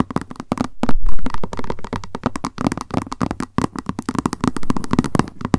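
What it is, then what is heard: Plastic lunch box tapped with nails. Long nails tap rapidly on the lid and sides of a small, hollow white plastic lunch box with a cat print resting on a surface. Dense, uneven bursts of quick, dull clicks with short rings overlap and run together, sounding low and hollow, with some louder flurries.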